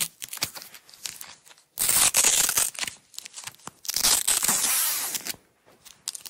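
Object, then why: Nylon hook-and-loop tape strip. A red nylon hook-and-loop tape strip is lifted at the edge with fingernails and peeled off its roll. Quiet crackly ticks give way to two long, loud, bright ripping tears, with lighter crackling between and after them.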